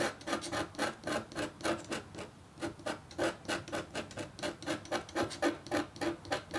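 A red-handled, metal-tipped stylus engraves feathers into a flat, black-coated copper foil scratch art sheet in short scratching strokes. It makes a quick, steady run of dry, rasping scratches, each with a faint tonal ring around 340 Hz and a bright edge, with a brief pause partway through.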